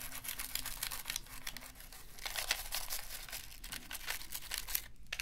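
A toothbrush scrubs a black, hollow plastic PlayStation 3 controller held in a gloved hand. Dense, bright, scratchy bristle strokes rasp continuously over a faint low hum. The scrubbing briefly drops out near the end, then resumes.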